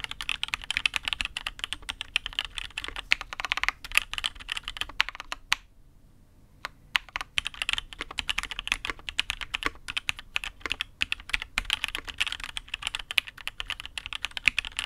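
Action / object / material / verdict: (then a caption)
tap / mechanical keyboard with aluminium case and ABS keycaps / aluminium, plastic / none. Fingertips type steadily on a custom Matrix 8xv 2.0 mechanical keyboard with INK Black switches, a dark aluminium case and black and red ABS keycaps. It makes a dense run of short, bright clacks centred around 2.5 kHz, with almost no low end. There is a brief pause just before the six-second mark, then the typing resumes.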